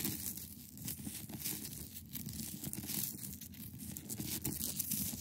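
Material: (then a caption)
Ice. Long acrylic nails on both hands scratch across the top of a large, solid, clear ice block. The result is a steady, dense, crackly scratching with a dry, tearing texture, bright hiss above and a low rumble underneath. It holds at a fairly even, quiet level throughout.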